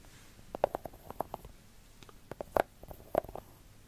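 Long gold glitter fake nails tap and scratch a solid, segmented milk chocolate bar. About fourteen short, dull, mid-pitched clicks arrive in loose clusters, with faint scratching between them. Each tap dies away almost instantly.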